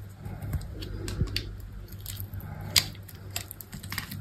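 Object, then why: Bar of soap cut with a blade. A utility knife blade scrapes and cuts chips off a solid rectangular soap bar, with a black textured coating and white interior, held in the hand. Soft, dry scraping is broken by irregular crisp, bright clicks and snaps, with one sharper snap near the end. A steady low hum runs underneath.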